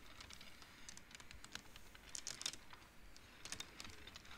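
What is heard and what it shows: Fingertips slide colored wooden beads along the metal rods of a large wooden-framed abacus, producing a quiet, irregular patter of short, bright ticking clacks. The clicks die away almost instantly over a faint steady hiss, with a few louder clusters near the middle and end.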